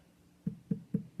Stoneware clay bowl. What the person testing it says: A little higher, a little more of a drum sound.